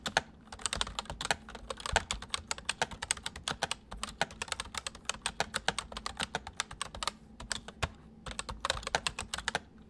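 Fingertips of both hands type quickly on a white full-size MSI plastic mechanical keyboard with hollow keys. The result is a steady stream of sharp, bright, clicky keystrokes that stop almost instantly, with brief pauses between bursts, over a faint low background hum.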